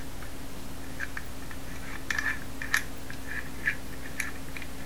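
A small teal-anodized Masterlock metal combination padlock with a steel shackle, solid, is held in both hands while fingers tap, scratch and turn its dial. Short, sharp clicks with a bright metallic ring near 1.8 kHz stand out over a low, steady background hum. The clicks are scattered and each dies away almost at once.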